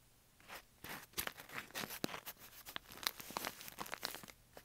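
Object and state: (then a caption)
Kraft paper bag. Fingers scratch, rub and crinkle the sides and top edge of a tall, hollow brown kraft-paper bag standing upright on carpet. It makes quick, dry, papery bursts of crinkling and scratching, bright and hissy with little low end, each dying away almost at once between soft pauses.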